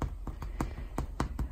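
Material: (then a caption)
Bread. A freshly baked whole grain sourdough loaf, still in its loaf pan, is tapped seven times on its round top, giving short, dull, low-pitched hollow knocks. The hollow sound shows the bread is baked through and done.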